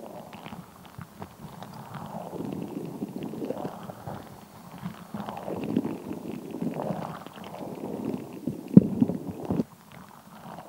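A palm-sized translucent rubber squishy stress ball full of red and green water gel beads is squeezed and squished in the hands, with long nails pressing into it. The result is a continuous low, wet squelching and rumbling with soft clicks of the beads shifting. Near the end comes a sharper squish, followed by quiet.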